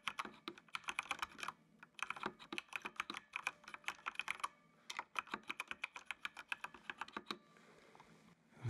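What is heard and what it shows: A full-size black plastic mechanical computer keyboard with RGB backlight is typed on by fingertips, tapping keys continuously. Crisp, bright plastic clicks come in quick bursts with short pauses between them, and each keystroke dies away almost instantly. The typing stops near the end, leaving a faint low hum.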